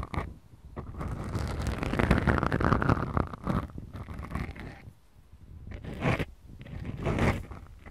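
Long acrylic nails scratch and squeeze two small, soft, porous black foam windscreens on the mics of a Tascam DR-40X recorder. The result is a dense, crackling, low-heavy scraping rustle that swells and fades in slow waves, with quieter dips near one and five seconds.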